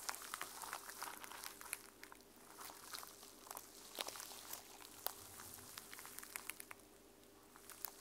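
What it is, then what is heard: Sequin-covered journal. Long nails scratch and flick across the teal plastic sequins on a notebook cover, making a dense, quiet run of bright, crisp clicks and rustling crinkles. The sound swells and fades in short bursts over a faint steady background hum.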